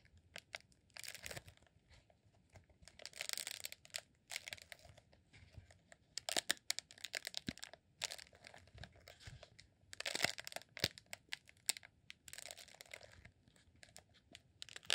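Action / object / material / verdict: scrape / rolled honeycomb beeswax candle / beeswax / none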